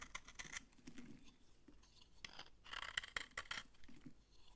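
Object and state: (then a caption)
Dry bar soap being scraped. A utility knife blade scrapes crumbly shavings off a solid, dry orange bar of soap held in the hand. Quiet, dry, crunchy scraping and crackling comes in short bright bursts, densest at the start and again in a louder cluster near the end.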